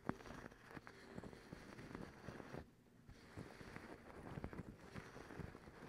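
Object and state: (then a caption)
Cotton terry towel. Long pink acrylic nails scratch across a soft, folded white cotton terry towel, making a dense, fuzzy rustling with quick scratchy strokes. The scratching stops briefly near the middle, then resumes at the same steady, close texture.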